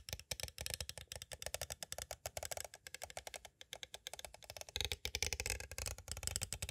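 Two green plastic stick tools tap rapidly on the edges of a small, hollow, clear plastic cassette tape case. The result is a fast, steady run of short, bright, dry clicks with almost no ring. From about halfway through, the taps grow denser and carry a slightly fuller low knock.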